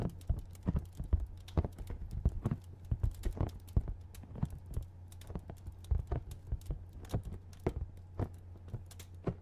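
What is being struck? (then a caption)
Hand-sized cardboard box. A hand-sized, hollow printed cardboard product box is held in one hand and tapped quickly on its flat face with fingertips and nails. The result is a steady stream of short, dry, hollow taps, mostly low thumps with brief bright clicks from the nails, over a constant low hum.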